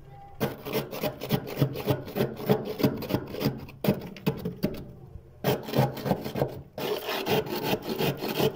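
A hand scrapes and pries a thick, fluffy frost buildup of solid ice crystals off a freezer wall with a white plastic scraper, pushing off soft slabs. Quick, rough rasping strokes repeat about three times a second, with brief pauses near 4, 5 and 7 seconds. The strokes are gritty, with body in the low-mids and bright crackly edges.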